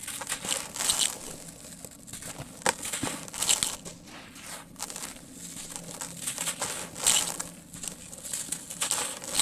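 Fingers break pieces off the edge of a large, solid, dry, porous sand-cement lump and crumble them, sending grains pouring into a tub. The sound is a steady stream of bright, dry crunching and crackling with sharper snaps as chunks break away, over a fine grainy hiss of falling grit.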